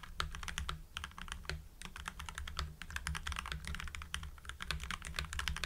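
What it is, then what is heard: Mechanical keyboard with PBT keycaps. Continuous two-handed typing on a full-size mechanical keyboard with lubed Gateron Yellow linear switches, white PBT cherry-profile keycaps and blue backlighting. The keys give a fast, steady run of short, poppy clacks with bright clicky tops over a deep low thump. Each keystroke dies away almost instantly.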